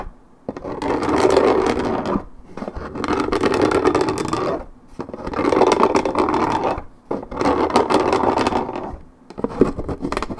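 Long red nails scratch quickly on the coated cardboard top of a 1.75 L Minute Maid paperboard orange juice carton. The result is a dense, rasping scrape with a mid-range body and a bright, hissy edge, coming in long bursts separated by brief pauses.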